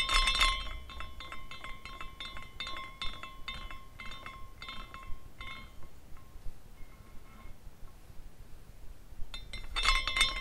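A small decorative glass carousel figurine is spun by hand, and its hanging glass horses clink against the glass structure. A dense burst of bright, tinkling clinks with a ringing tone near 1 kHz thins into sparser chimes and near silence, then a second flurry of clinks returns at the end.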